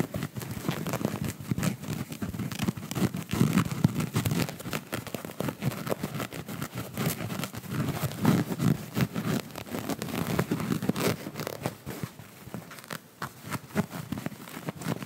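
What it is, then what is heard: Fabric-covered plush ball. A small, soft, fabric-covered purple plush ball with a yellow star pattern is held close to the microphone and squeezed and scratched with fingertips. The result is a steady stream of soft, muffled scratching and crinkly rustling with many quick, dense little taps. It stays low and full-bodied throughout, with only faint brightness.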